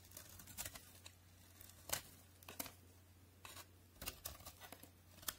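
A utility knife shaves thin, brittle flakes from the top of a solid white soap bar held in the hand, from a set of NC, Linom and FAX white soaps. Quiet, bright scraping crackles come in short, irregular bursts over a faint steady low hum, each cut ending almost at once.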